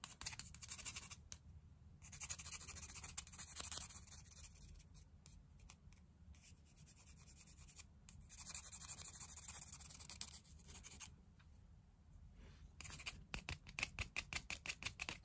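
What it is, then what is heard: Painted river stone being scratched. A wooden stick tip scratches across the surface of a palm-sized, solid grey river stone with painted eyes, held in the hand. Quiet, bright scratching comes in uneven bursts with short pauses, ending in a run of quick, light scraping strokes.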